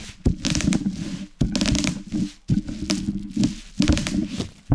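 A wooden rolling pin rolls over and crushes a large sheet of plastic bubble wrap with hollow air cells lying on a wooden board. The crushing comes in repeated passes of dense crinkling and sharp, bright pops over a heavy low rumble, with short quiet gaps between passes.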